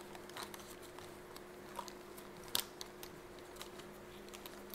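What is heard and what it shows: Fingertips and nails tap and scratch across the soft fabric of a yellow smiley-print zip pencil case held horizontally in both hands. Quiet, crisp scratching and light, bright ticks scatter through the clip over a faint steady hum, with one sharper, louder tap just past the midpoint.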